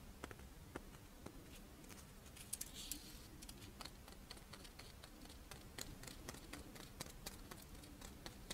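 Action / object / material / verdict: tap / fish-shaped rice wafer monaka held in the hands / rice wafer / none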